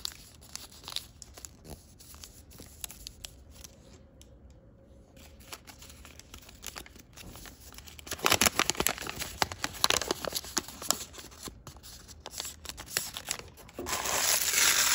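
A partly folded sheet of thick printed origami paper is held in both hands while the fingertips crease and rub its folds. It makes bright, crisp crinkling and rustling with quick irregular taps. The sound stays soft at first, grows louder and denser after about 8 seconds, and ends in a sustained louder rustle.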